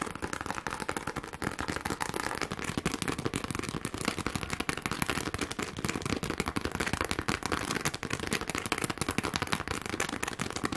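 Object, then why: Plastic rhinestone sheet. A pink plastic rhinestone sheet is held close and scratched fast with long glittery nails. A dense, continuous stream of sharp, crackly clicks and scrapes runs steadily throughout, spread across lows to bright highs with no pauses.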